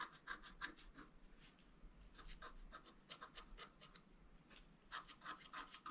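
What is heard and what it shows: A wooden stylus scratches lines into a flat black coated scratch art paper board. The strokes come in quick, irregular runs of short, dry rasps with bright edges around 1–2 kHz. Between the runs there are brief pauses over a low, steady background.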